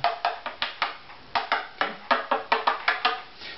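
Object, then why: Violin back plate, maple. A hollow wooden violin lies face down, its flamed maple back plate tapped at several spots with a thin stick while the other hand holds the neck. Fifteen short, dry, woody knocks sound, each with a hollow midrange tone around 900 Hz and almost no low end. Each knock fades within about a tenth of a second, and the pitch shifts slightly from spot to spot.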